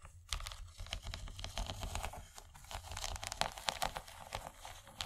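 Long nails on both hands scratch and tap the bumpy corn-cob texture of an empty, rigid yellow plastic corn-shaped serving tray. The result is a dense run of quick, dry clicks and scratchy crinkles with bright top edges and no ring after each touch, over a low steady hum.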